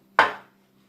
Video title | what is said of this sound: Brown Bread with Carmel Phillips | tap it on the center and there should be a hollow sound